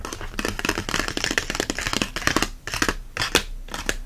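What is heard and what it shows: An open paperback herb book with a glossy card cover rests face-down like a tent while both hands scratch and tap its cover and spine with fingernails. Quick, dry fingernail clicks overlap with bright, scratchy rasping, forming a dense, steady patter. Each tap dies away almost at once, with a few sharper taps standing out near the end.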